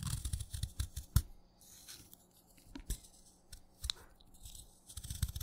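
A craft knife shaves curls from the side of a solid, wet, light green chalk stick, giving short, crisp crunching and scraping strokes. Bright rasping bursts come over a soft, low rumble, with brief quiet gaps between clusters of cuts.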